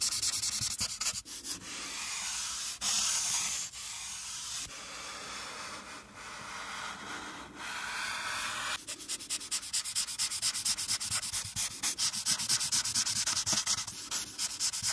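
A marker tip rubs over a flat paper coloring page on a clipboard, filling in around a character's hair with the hand and arm over the page. For about nine seconds it makes steady, bright, hissing scratches. Then it switches to quick, rapid back-and-forth strokes that give a fast, choppy rasp.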